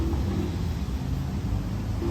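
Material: Nothing is struck.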